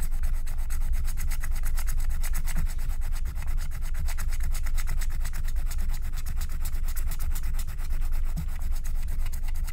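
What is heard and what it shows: A wooden stylus scrapes back and forth across a flat, thin, black wax-coated paper scratch-art card. It makes a steady, rapid, rhythmic scratching with bright, papery strokes over a low rumble. The level stays even throughout.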